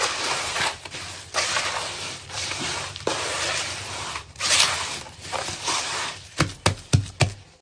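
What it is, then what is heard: Damp sand-cement mix. Bare hands dig into crumbly, damp grey sand-cement mix in a large blue plastic tub, squeezing and crumbling clumps and rubbing the loose mix between the fingers, with occasional possible contact with the tub walls. The result is a continuous bright, gritty crunching and rustling in uneven bursts, ending with a few sharp, short crackling taps.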